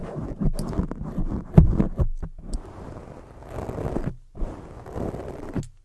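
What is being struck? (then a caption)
Foam microphone windscreen. Long fake nails scratch, rub and cup a black oval foam windscreen on a microphone. The sound is a dense, muffled, low scraping and rustling with soft thumps, swelling and fading in waves, with brief dips into near silence.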